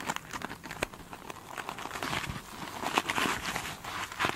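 Long pointed nails scratch the glitter-beaded top of a single soft, solid foam sponge up close. The result is a dense run of crisp, crinkly scratching with quick, bright ticks and rustles that rise and fall in loudness.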